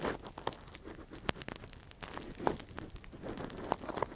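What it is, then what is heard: Silicone ear scraped with a metal pick. A gloved hand scratches and probes inside the canal of a soft, translucent, hand-sized silicone ear model, a hollow binaural mic cover, with a thin metal earpick. Close, crinkly scraping and rustling are punctuated by short, sharp clicks and crunchy taps, with bright crackle over a quiet, soft background.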